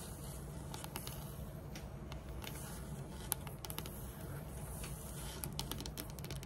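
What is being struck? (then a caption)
Wooden tabletop. Long metallic nails tap quickly on a large, flat, solid dark wood-grain tabletop. The taps are short, dry, bright clicks with almost no ring, scattered over a steady low background rumble.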